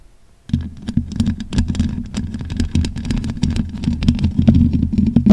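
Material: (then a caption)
Metal mesh. Long pink acrylic nails scratch quickly over the top and sides of the bare, black, hollow metal mesh grille of a large condenser microphone. After a brief quiet start, a dense run of rough, rumbling scrapes and crackles sets in, heavy in the low end with quick sharp ticks over it. The scratching builds slightly louder toward the end.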